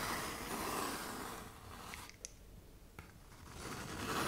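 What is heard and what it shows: Long nails scrape along the gritty side of a tan K120 (120-grit) sandpaper sheet bent into a curve, making a dry, broadband rasping hiss. The scraping fades to near quiet in the middle, broken by a few faint sharp ticks, then swells back up toward the end.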